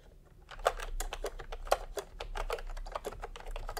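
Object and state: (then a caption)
Plastic keyboard being typed on. Fingertips type steadily on a full-size plastic retro keyboard with a peach plastic case and round, typewriter-style plastic keycaps. After a brief quiet start, a rapid, irregular run of short, crisp clacks follows, with a few louder strokes standing out. A faint low hum sits underneath throughout.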